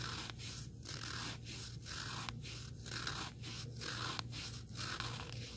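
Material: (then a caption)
Foam abrasive. Fingertips and nails scratch the abrasive face of a small, solid, black rectangular sanding sponge block. The result is a steady, gritty scraping hiss that fills the high range, broken into uneven strokes about once a second. A constant low hum runs underneath.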